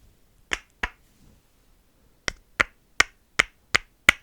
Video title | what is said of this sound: ASMR setting and breaking the pattern | kind of sounds like wood. I promise you these are plastic.